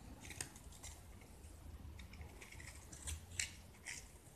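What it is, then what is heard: Gypsum brick scraped with a blade. A utility knife blade scrapes and carves crumbly chunks off a hand-held solid white gypsum brick with its blue paint mostly removed. Quiet, gritty scraping runs throughout, broken by several bright, sharp scratchy strokes over a low rumble. Each stroke cuts off quickly with almost no ring.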